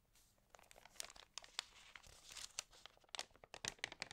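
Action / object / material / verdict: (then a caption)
scrape / glossy paper magazine pages / paper / none. Fingertips with long nails rub and crinkle the pages of an open, water-damaged glossy-paper magazine lying flat, then turn one page. Quiet, bright, dry crackles and rustles come in quick bursts with sharp, high snaps and almost no low end. Each sound stops short with no ring.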